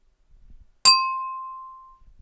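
A drinking glass is tapped once, giving a bright clink that starts instantly and then fades slowly as a clear ringing tone near 1 kHz, with higher overtones dying away sooner. The ring lasts over a second before silence. Faint low rustling is heard just before and after.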